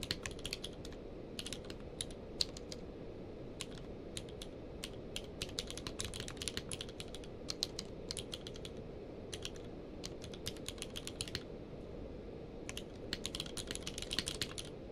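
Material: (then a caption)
Plastic. A full-size plastic mechanical keyboard with a blue-grey case and white and grey plastic keycaps, lying on a blanket, is typed on rapidly with the fingertips of both hands. Quick, bright clicking key presses come in bursts with short pauses between them, over a low, steady background hum. The presses are crisp and short, with almost no ring.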